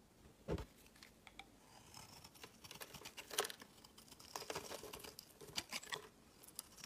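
A rectangular solid yellow laundry soap bar with embossed Cyrillic text is held in the hand and shaved with a utility knife blade, scraping and carving its surface. Quiet, dry, bright scraping and crackly shaving strokes come in irregular bursts, with sharper louder cuts near the start and middle. Each stroke stops almost at once with no ring.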